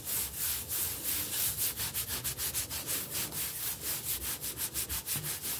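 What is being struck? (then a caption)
Stone kitchen countertop. Fingertips rub and scratch across a large, solid, speckled granite-look kitchen countertop, then a knuckle knocks on it. The clip is a steady run of quick, bright, hissy scraping strokes, about three per second, with little low end and only brief dull knocks near the end.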